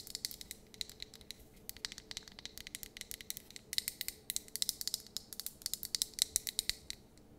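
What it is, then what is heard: Glass candle jar. Long painted nails tap rapidly on a lit white wax candle in a clear glass jar with a printed label, filled with wax. Dozens of quick, dry, bright clicks arrive in an uneven stream, each stopping almost instantly with no ring and almost no low end.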